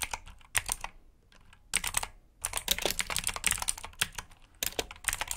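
Fingertips type on a black plastic mechanical keyboard with blue switches, giving bursts of sharp, bright clicky keystrokes. Short pauses separate the bursts, and a faster run of dense typing fills the second half.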